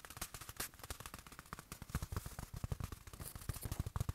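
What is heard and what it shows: A small, soft black velvet-like fabric watch cushion from a watch box, padded and solid, is squeezed in the hand and tapped and rubbed with fingertips. About thirty quick, dull, low-pitched thumps come in a fast, uneven rhythm, with faint brushing fabric rustle between them.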